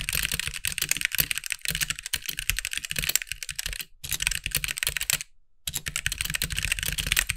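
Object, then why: Mechanical keyboard with plastic keycaps. Fingertips of both hands type quickly on a compact backlit mechanical keyboard with white plastic keycaps, producing a dense run of bright, clacky keystrokes with a low thock beneath each press. The typing pauses briefly just before 4 seconds and goes nearly silent for about half a second around 5.5 seconds before resuming at the same steady pace.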